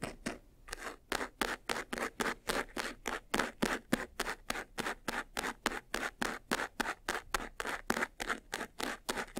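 Fingernails quickly scratch the side edges of a closed, hollow, medium-sized white textured faux-leather jewelry box. A rapid, steady run of about thirty short, dry, raspy strokes comes at roughly three to four per second. Each stroke is a brief broadband scrape, brightest in the mids and highs, with almost no low end and no ring.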